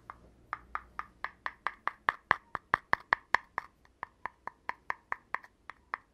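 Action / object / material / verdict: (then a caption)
tap / cardboard tube / cardboard / none. Fingertips and nails tap and scratch at the bare cardboard rim and opening of a hollow, empty red cardboard poster tube held in one hand. After a faint rustle, 26 quick, dry, hollow taps follow in a steady rhythm, each with a knocking tone around 1 kHz and almost no ring. The taps grow louder toward the middle and then ease off slightly.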